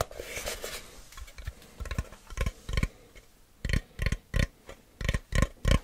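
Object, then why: Cardboard box. A plain, medium-size, hollow brown kraft cardboard box is held close and tapped with fingertips and nails. The taps come in an irregular run of hollow, low thumps with dry, clicky tops that die away almost at once. Soft scratchy patter fills the start, and the taps grow sharper and more spaced out toward the end.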